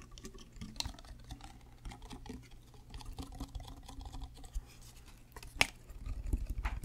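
Fingernails tap along the label and body of a white plastic Prime sports drink bottle with a black cap, hollow and apparently full. Soft, quick, clicky taps patter irregularly over a low background rumble, with brief, bright ticks that die away at once. A sharper, louder tap stands out near the end.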